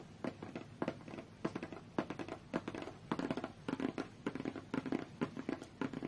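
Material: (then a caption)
Cardboard. Long fingernails on both hands tap fast on a closed, hollow, medium-sized white cardboard tablet box. The taps come in quick, irregular clusters of crisp, papery clicks over a hollow low-mid knock around 300 Hz, each dying away almost instantly.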